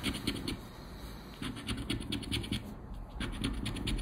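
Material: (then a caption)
Coated paper. A round black plastic scraper rubs the scratch-off panels of a thin coated-paper Aranha da Sorte scratch card resting on black cloth. Quick, repeated scraping strokes give a bright, papery rasp over a low rumble, easing off briefly around the middle and again near three seconds before resuming.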